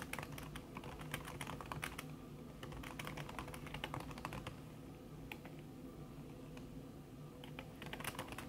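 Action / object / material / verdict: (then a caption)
tap / laptop keyboard with silicone key cover / silicone / none. Long red fingernails tap quickly across a backlit laptop keyboard in a silver aluminum body, its keys covered by a thin red silicone skin. The clicks are soft and muffled, a steady stream of short, dull taps with brief bright edges over a low hum, with no talking.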